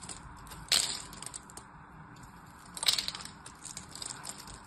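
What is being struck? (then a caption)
Bar of soap. A blade cuts a grid into a solid orange and white striped soap bar held in the hand, and small cubes crumble off. Two sharp, bright crunching bursts stand out over a steady bed of fine, high crackling and crumbling.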